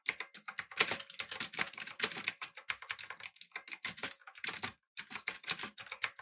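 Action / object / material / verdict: tap / mechanical keyboard with aluminum body and plastic keycaps / plastic / none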